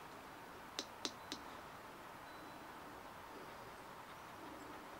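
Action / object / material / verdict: tap / hollow plastic dimpled ball / plastic / none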